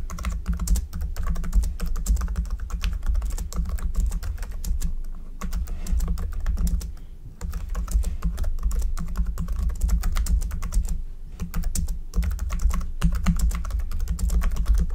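A black plastic computer keyboard with hollow keys is typed fast with the fingertips of both hands throughout. Rapid, dense clicking taps run continuously, with brief lulls around 7 and 11 seconds. A steady low hum sits underneath.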